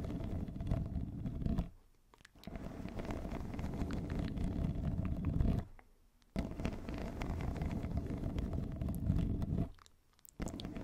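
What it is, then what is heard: Corrugated plastic tube, scratched. A yellow, hollow, ribbed plastic pop tube wrapped around a fluffy microphone cover is scratched with long nails of both hands. A dense, low, rumbling scratch runs in three long bursts separated by brief near-silent pauses.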